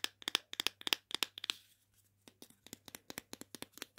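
Long painted fingernails tap and scratch on small hollow red plastic pretend-food sausage links held in both hands. Quick, sharp, bright clicks come in an uneven run, stop briefly, then pick up again in a second steady run.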